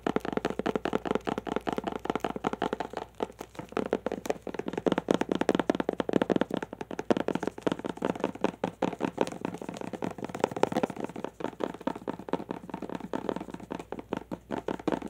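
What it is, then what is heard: Plastic glitter tube. A long clear plastic tube filled with glitter is held horizontally and tapped quickly with fingertips and nails. The result is a dense, uneven stream of short, dry plastic clicks and taps with little ring, centred in the low-mid range and carrying a faint rattling edge.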